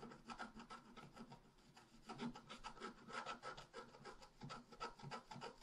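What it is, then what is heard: Scratch art paper being scratched. A wooden stylus scratches leaf shapes into the lower right of a flat, black-coated scratch art paper sheet. Quick, uneven rasping strokes repeat in a steady scratchy patter. The scraping stays quiet throughout, with each short stroke dying away at once.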